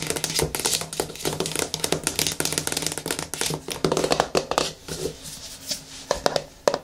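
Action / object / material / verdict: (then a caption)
scrape / plastic cosmetic jar / plastic / none. Long nails scratch quickly along the lid rim and side of a medium yellow plastic hair-mask jar, making a dense run of dry, bright clicks and rasps with almost no ring. The scratching thins out toward the end as the jar is lifted and tilted in the hands, leaving softer handling rustles and a few sharp taps.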